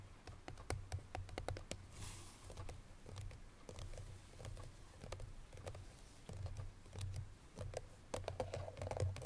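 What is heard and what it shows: Long nails tap rapidly on the front face of a hollow cream paperboard Chloé perfume box that holds its bottle. Quick, dry clicks and light scratches sit over a low, hollow thrum. Each tap dies away almost at once.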